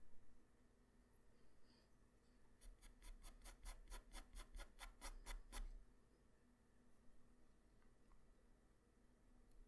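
A graphite pencil tip draws quick strokes across a flat white paper drawing sheet, with scratching and rubbing. After a quiet start, a fast, even run of bright, raspy strokes lasts about three seconds in the middle of the clip. It then settles back to soft, faint rubbing over a low steady hum.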